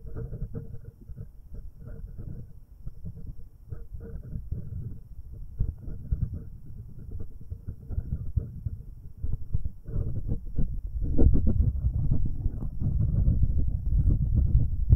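An index finger wearing a cat-shaped rubber finger cot rubs the left metal capsule of a binaural microphone, producing a dense run of deep, muffled scrubbing thumps. The sound is almost entirely low, with no bright content, and grows louder and heavier in the second half.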